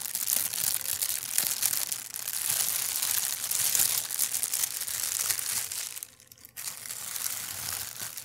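A large, thin, translucent plastic bag, empty, is held up and crumpled and squeezed by hand. It gives a continuous bright crinkling and rustling, with a brief near-silent pause around six seconds before the crinkling resumes.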